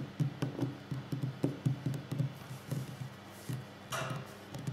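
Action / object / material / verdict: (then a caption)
tap / wooden tabletop / wood / none. Fingers tap on a wooden table at different speeds for ASMR. The taps are soft, dull and low, with a woody knock that dies away almost at once, and a brief brighter rustle breaks in near the end between the taps.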